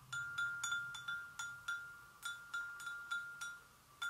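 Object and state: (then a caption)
Porcelain gravy boat. A porcelain gravy boat is gently tapped, giving twelve bright, irregular ringing strikes. Each tap sounds a clear tone near 1.4 kHz with shimmering high overtones, then decays over a fraction of a second above a faint low hum.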